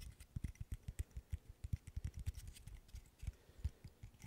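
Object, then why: Small wooden interlocking stick puzzle. A small, solid, handheld wooden burr puzzle made of light-wood interlocking sticks has fingernails scratching and rubbing along its pieces. The result is a quick, uneven run of quiet, dull, low-pitched taps and scrapes that die away almost instantly, with faint bright scratchy edges above them.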